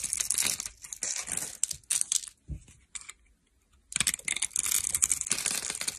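A solid green bar of dry soap, scored into a grid and held in the hand, is scraped with a metal blade to shave off small cubes. Bright, crisp crackling and crunching bursts come in clusters, with a near-silent gap in the middle before the scraping resumes.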